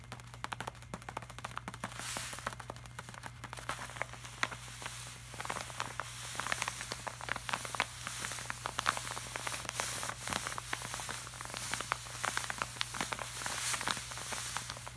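Fingertips and short nails scratch and tap across a flat, glossy laminated art print while an open palm rubs its surface. Quick, bright, crackly taps and scrapes sit over a soft hiss of rubbing, with a steady low hum underneath throughout.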